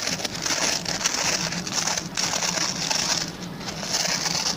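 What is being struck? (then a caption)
Plastic pin-bristle brush. Fingertips and short nails quickly scratch the plastic pin bristles of a hand-sized oval white plastic brush. The result is a steady, dense, bright crackling rasp concentrated in the high range, with only brief dips in loudness.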